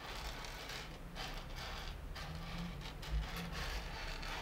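Flat hands and fingertips rub, sweep and press through loose roasted coffee beans spread in a shallow layer across two sunken panels of a wooden table. The beans make a steady, gritty rustle with swelling bright hissing surges as they shift and scatter, over a faint low hum.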